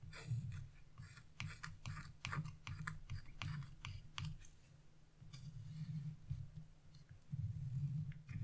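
A wooden-handled carving chisel, held in a hand with blue nails, scratches across a sheet of wax-coated scratch-art paper, scattering black flakes. Short, dry, bright scraping clicks come in quick bursts over a steady low hum, with quieter stretches of soft continuous scratching between them.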